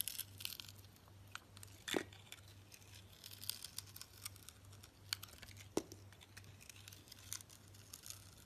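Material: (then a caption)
Soap. A solid rectangular soap bar with a green glitter coating and orange interior is shaved with a metal blade while held in the hand. Quiet, bright crackling and scraping continue throughout, with a few sharper cutting snaps standing out. A faint low hum runs steadily underneath.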